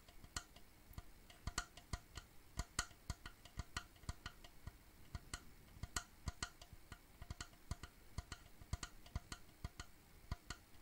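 A wooden shadow box frame, held edge-on, has its narrow wooden side tapped with fingertips and nails. About forty quick, dry, woody ticks come in an irregular stream, each with a short sharp click near 1.4 kHz, a dull low knock and a bright top, and they die out almost at once.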